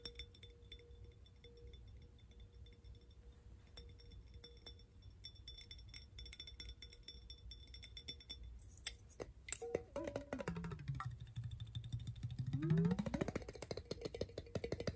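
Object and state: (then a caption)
Glass jar with water. A glass mason jar with a metal screw lid, partly full of water, is held in the hands and tapped with fingernails, giving quiet, bright glassy clinks over a low, steady background hum. Near the end the jar is tilted, and the water sloshes inside, producing a tone that swoops down and then rises again amid continued light taps.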